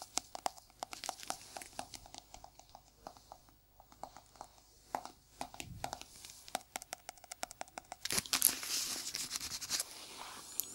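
A small, hollow, round white plastic jar with a white lid is held in one gloved hand and tapped on its lid and sides with gloved fingertips. Quick, irregular, dry clicking taps with a bright, crisp tone and almost no ring continue throughout. Near the end they thicken into a louder burst of scratchy, rustling texture.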